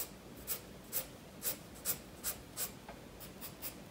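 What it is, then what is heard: Pencil scratching on sketchbook paper. A graphite pencil scratches lines across a page of a spiral-bound paper sketchbook resting on a wooden desk, shading a fish drawing as the sketchbook is briefly rotated. Short, bright, papery strokes repeat at a quick, uneven pace over a faint steady hiss, each scratch dying away almost at once.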